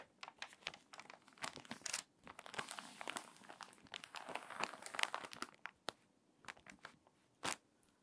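Long nails scratch and rub across the crinkly open spread of a wavy, water-damaged paper magazine. Dry, bright crinkling and rasping scratches come in quick bursts, thick in the middle stretch, then thin out into sparse ticks and one last sharp crackle, with almost no low end.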